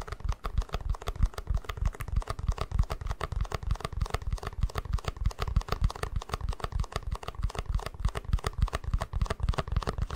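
Fingertips and nails tap and scratch the sides and base of a small, hollow, empty white plastic cup. The result is a fast, uneven stream of short, dull, low taps with almost no ring, mixed with light scratching.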